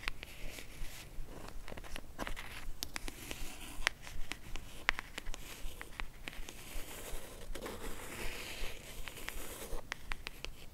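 A small, hollow, rigid cream cardboard jewelry box, held in both hands, is tapped and scratched with long acrylic nails while an orange box sits untouched nearby. Quick, sharp, irregular clicking taps mix with soft crinkly scratching across the whole clip, each tap dying away almost instantly.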